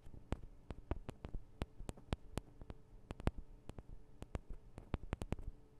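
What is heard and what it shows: Long acrylic nails on both hands tap the small hollow metal microphone capsules of a Tascam DR-40 recorder. Quick, irregular taps sound as short, dry clicks with a low, thudding body and a faint bright edge. The sound dies out instantly over a quiet background hiss.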